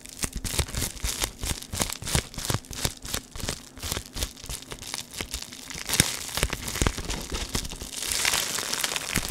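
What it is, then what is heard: Foil bubble wrap sheet being crinkled. A flat square sheet of silvery metallic foil bubble wrap with a dark grid pattern is held in both hands close in front of a microphone and crinkled and pressed with the fingertips. Sharp, bright crinkling crackles snap in quick succession. Near the end they blur into a denser, hissy rustle.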